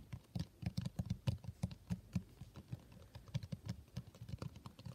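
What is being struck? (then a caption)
Cloth-covered hardcover book. Fingertips of both hands rapidly tap the cover of a solid, blue textured cloth hardcover book. About 25 quick, dull, low thuds sit mostly below 200 Hz, each dying away almost instantly with no ring.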